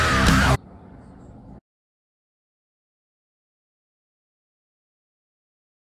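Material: Nothing is struck.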